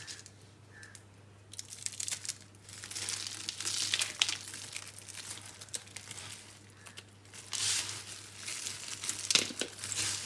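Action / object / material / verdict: scrape / crumbled bar soap / soap / none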